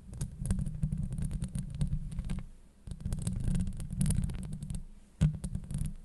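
Long nails scratch and tap across a hollow metal mesh microphone grille. The result is a dense, muffled low rumble of scrapes and thuds, broken by faint crackling ticks. One sharper, louder tap stands out near the end.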